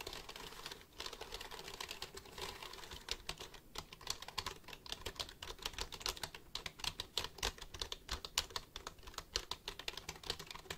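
Fingertips tap the keys of a black plastic computer keyboard held close to the mic, producing a rapid, steady run of short, dry, bright clicks. Each click dies away almost instantly, leaving a dense, crisp clatter with very little low end.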